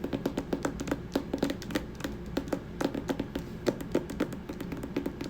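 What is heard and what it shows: Fingers tap rapidly and irregularly on the hardcover poetry book "The Rose That Grew from Concrete." The taps are dense and dry, with a hollow midrange knock around 340 Hz. Each tap dies away almost instantly.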